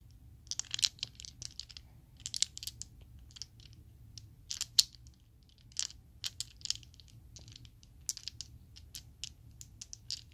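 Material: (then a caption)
Acrylic plastic. A set of small solid purple Chessex acrylic polyhedral dice is held in the hand, shaken and clacked together. It produces rapid bursts of bright, sharp plastic clicks with almost no ring, over a faint steady low hum.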